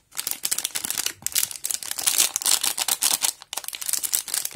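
Fingertips of both hands grip, turn and squeeze the black and yellow crinkly plastic wrapper of a small, full and solid rectangular halva bar of about 200 g, still sealed and unopened, resting on a plastic cutting board. The result is dense, bright crinkling in rapid bursts with almost no low end, broken by two brief pauses.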